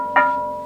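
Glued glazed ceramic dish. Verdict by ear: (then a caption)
Sound. A restored glazed ceramic dish, its broken shards glued back together with joins checked for any step, is tapped once and rings with a clear, steady tone around 970 Hz. The ring fades slowly over about half a second. It sounds sound and well joined, its singing shaped by the thickness of the body and the glaze.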